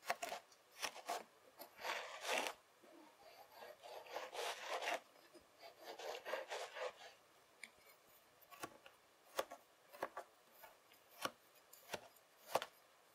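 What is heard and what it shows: The tines of a white plastic fork scrape and rake through a long, solid ridge of beige kinetic sand on a table, held in place by one hand. Soft, gritty scraping bursts fill the first half. Sharper, brief scratchy ticks follow with quiet gaps between them, all at a low, close level with no deep tones.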